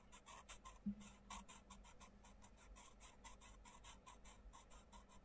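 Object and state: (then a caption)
Pencil colouring on a paper page. A wooden coloured pencil is rubbed back and forth across a thin printed page of an open softcover colouring book, The Mindfulness Colouring Book, lying flat on a wooden table while one hand holds the page. The result is a steady, quiet run of short, bright scratching strokes over a faint low hum.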